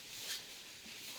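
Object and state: Nothing is struck.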